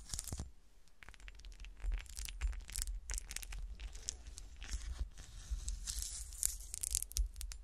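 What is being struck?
Small frosted glass shoe ornament.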